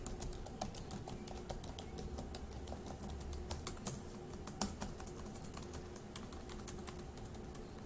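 Fingertips of one hand tap the plastic keys of a dark grey laptop keyboard in a steady, irregular run of quick, bright clicks. Each click is short and dry, with a faint low hum beneath the typing throughout.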